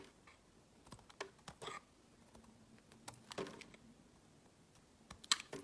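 A small remaining piece of pale green translucent glycerin soap, held in the fingers, is shaved with a utility knife blade. Quiet, bright, dry scraping and carving strokes come as short separate bursts with almost no ring, with the sharpest cut near the end.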